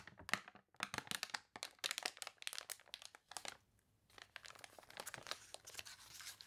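Long nails scratch and crinkle the water-wrinkled pages of a thick, glossy paper toy catalog, and a page is turned. The result is a dense run of bright, crunchy scratches, with a brief quiet pause in the middle before the crinkling resumes more softly.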